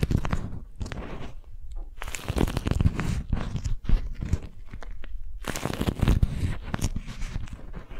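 A strawberry-print beeswax-coated cotton food wrap is bunched in the hands while fingers with long nails grip, twist and crinkle the waxed fabric sheet. Dense, crunchy crinkling comes in bursts separated by short quieter gaps, with a heavy low-end body and brief bright crackles.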